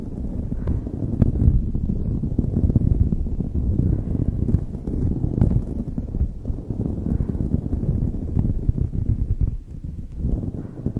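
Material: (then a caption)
Knit fabric. Long nails on both hands scratch a light blue knit beanie stretched over a microphone. The result is a dense, continuous, muffled rustling and scratching, heavy in low rumble with almost no bright content, with a brief dip in loudness near the end before it picks up again.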